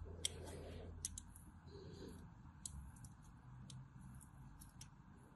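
A small metal blade carves deep diagonal grooves into a solid white bar of soap with a cross-hatched face, held in the hand, and flakes fall off. Quiet, crisp, bright clicks and scrapes sound over a low background rumble, with softer scraping between the sharper cuts.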